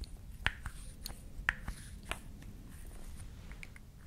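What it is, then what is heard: Wooden toy lip balm, solid. A small, solid, painted wooden toy lip balm with a pink cap and red stick is held in both hands, handled, tapped and scratched with long nails, and its cap pulled on and off. Sharp, dry wooden clicks peaking around 1.8 kHz stand out over a quiet bed of soft rustling and faint, high scratching. Each click dies away almost instantly.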